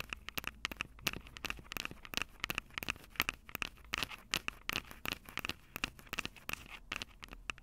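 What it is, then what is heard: Recorder microphone capsules tapped and scratched with fingernails. Long purple nails scratch and tap the silver metal mic capsules of a Tascam DR-05 handheld recorder. Dense, bright clicks and scrapes arrive in quick, uneven bursts over a quiet background, each snapping off almost instantly, with a steady resonance around 2.8 kHz.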